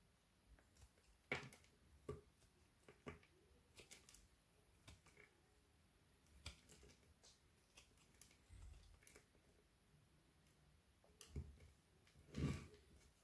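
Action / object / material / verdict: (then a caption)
scrape / frozen soap bar / soap / none. A solid white frozen soap bar held in the palm is shaved with a knife blade, curling and crumbling into flakes. Quiet, scattered crisp scrapes and clicks come with brief, bright edges. A few louder, fuller crunches stand out near the start and again near the end.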